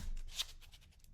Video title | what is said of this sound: "Unleashing the Beast: Unboxing the EAA Girsan Regard MC WhiteOut - New Gun Alert!" | You don't hear anything with that either.